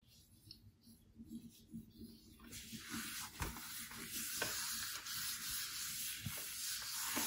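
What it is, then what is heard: Glass tablet screen. A hand wipes and rubs the glass screen of a large, flat iPad Pro 12.9 lying on a plaid blanket with a paper tissue. The quiet, bright, hissy rubbing starts soft and uneven, then settles into a steady, fuller swishing about halfway through, with a few faint thumps underneath.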